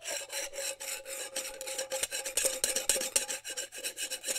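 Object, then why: Glass jar with ridged metal screw lid. Fingertips and nails scratch and rub the ridged band of a metal screw lid on a small, seemingly empty glass mason jar held in one hand, moving in a fast rasping motion. About twenty quick, uneven scraping strokes come through as bright, hissy rasps, with a faint steady tone around 535 Hz underneath.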